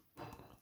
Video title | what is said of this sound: some of my favourite carboot buys | sounds plasticky but it's hollow in the middle made of wood got plastic on the top